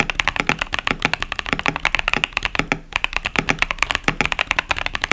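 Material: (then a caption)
Plastic. Fingertips type continuously on a 65% mechanical keyboard, a KBD67 Lite with tactile Boba U4T switches and pastel plastic keycaps. About forty quick, bright, clacky keystrokes follow in a steady rapid rhythm, each dying out almost instantly, with a brief pause just before the three-second mark.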